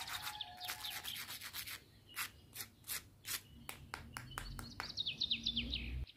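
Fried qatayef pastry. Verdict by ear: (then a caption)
Crisp. Fried qatayef pastries, drained on a strainer so they stay crisp, crackle in a fast run of sharp, bright crunches about four per second. Short chirpy tones sound near the end. The crunching shows the pastries are crispy on the outside and have not gone soft.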